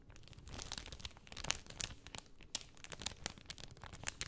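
A pink cellophane sheet is rolled up by hand, crinkling under fingers and nails. It makes a steady run of bright, crackling rustles broken by sharp, quick snaps, all at a fairly quiet level.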